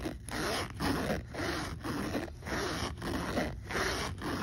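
A hand zips the pocket of a black polyester backpack, which has a metal zipper pull and a logo patch, open and shut over and over. Each pass makes a rough, rasping zip with a low-mid body, broken by short pauses. The strokes repeat at a steady, unhurried pace of a little under two per second.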